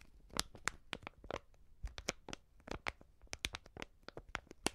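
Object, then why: Plastic-film seasoning pouch filled with powder. A hand-sized white plastic-film Coop Prix seasoning pouch, filled with powder, is held in both hands and crinkled and squeezed with fingertips and long painted nails. Around seventeen quiet, sharp, bright crackles snap out in an uneven rhythm, each dying away instantly with no ring, over a faint soft rustle.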